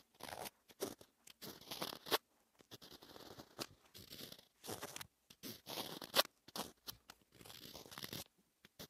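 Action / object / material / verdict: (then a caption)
scrape / wax-coated scratch-art paper scratched with a wooden stylus / coated paper / none. A pointed wooden stylus scratches letters into the waxy black layer of a flat rainbow scratch-art paper sheet, exposing rainbow colors and leaving flakes of coating. Short, irregular bursts of dry, bright scratching and crunching come in close succession, with sharp clicks where the tip digs in.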